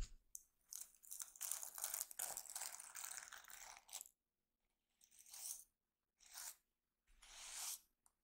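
Fingertips and short painted nails scratch and brush across the flip-sequin unicorn cover of a solid, notebook-sized diary held upright, flipping the sequins. A bright, crackly, papery rustle runs almost continuously for about four seconds, then stops and returns as three shorter brushing bursts separated by silence. The sound is quiet and mostly high-pitched, with little low end.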